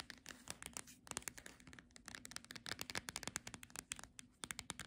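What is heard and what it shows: Long nails rapidly tap and scratch the glossy front cover of a paperback Monet picnic book held upright and solid, giving about thirty quick, dry, bright clicks over soft scratchy rustling. Each tap dies away almost instantly, and the whole clip stays quiet, with little low end.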